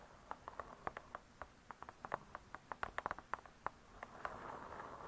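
Long nails tap and scratch the cardboard-covered cover of a spiral-bound hardcover cookbook. About 23 quick, dry taps with a hollow midrange knock come in an uneven rhythm, each dying away almost at once. A soft, grainy scratching hiss swells toward the end.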